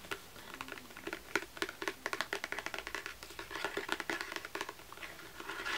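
Long nails and fingertips scratch and tap the textured cover of a small-medium tan embossed leather journal with a lion crest, a solid book. A rapid, uneven series of short, dry, bright clicks and scratches is heard, with almost no low end and each tap dying away almost instantly. Brief stretches of softer rubbing fill the gaps between them.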